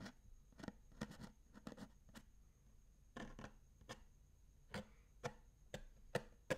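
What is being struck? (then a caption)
Hollow plastic lunch box. A closed, hollow sage-green plastic bento lunch box is turned upside down, and fingertips and nails tap and scratch its flat plastic base. It is then set upright and the lid is tapped with the fingertips. The result is a series of short, dry, hollow taps at an irregular pace, with soft scratching between them.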